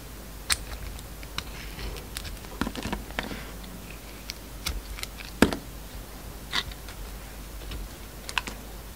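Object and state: Bar of soap being cut.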